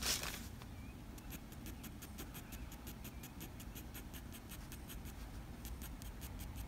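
A black wooden graphite pencil makes short fur strokes above the eye on a sheet of drawing paper, producing a rapid series of quick, bright scratches on the paper. A steady low rumble sits underneath, with a louder scrape at the very start.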